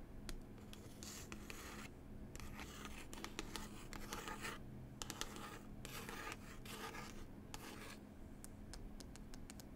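Long pointed nails scratch and rub the textured glossy cover of a solid paper book about New Zealand. Quiet, dry scratching strokes and light ticks come in bursts with short pauses, over a steady low hum.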